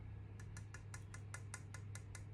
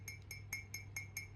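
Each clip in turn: First: authentic ancient low-fired clay figure. Second: modern high-fired ceramic cup, not ancient.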